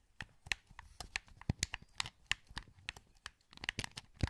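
A hollow, translucent green plastic PS2 wireless controller is held in both hands while fingertips click its buttons and sticks. About twenty quick, dry clicks and taps come in an uneven patter, bright and snappy with a few low thumps, and each one stops dead with no ring.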